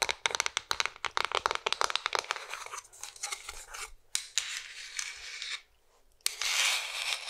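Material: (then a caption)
Wood. Long nails tap and scratch a flat, hollow Oliva wooden cigar box, with a bare wood back and a lacquered front, held close. A quick run of sharp, bright, dry clicks gives way to longer, hissy scratching strokes. After a brief near-silent pause, a final sustained scratch follows.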